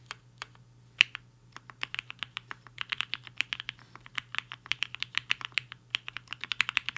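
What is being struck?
Mechanical keyboard with plastic keycaps.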